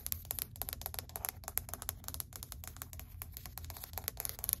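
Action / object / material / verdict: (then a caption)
tap / wood-look laminate plank / laminate / none. Long white acrylic nails tap quickly across a flat, solid grey wood-grain laminate or vinyl flooring plank. They make a fast, uneven run of dry, sharp clicks that die out instantly, over a low steady hum.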